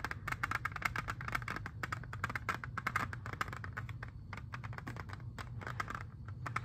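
Fingernails tap rapidly on a hand-sized, hollow clear plastic jewel case holding an Xbox 360 disc. Dense, sharp, bright clicks with a hollow resonance around 2 kHz die away almost instantly, over a steady low rumble.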